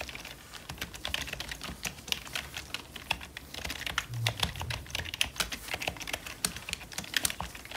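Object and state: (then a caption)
Plastic membrane keyboard being typed on. Gloved fingertips type quickly on a hollow, full-size black plastic membrane computer keyboard. The result is a steady, irregular run of short, bright clacks with very little ring, plus a soft low thud around the middle of the clip.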